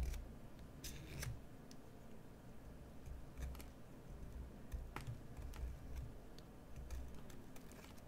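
A solid green bar of soap, held upright, is shaved with a metal carving knife. Soft scraping cuts come one after another with crisp, bright clicks over a low, quiet rumble.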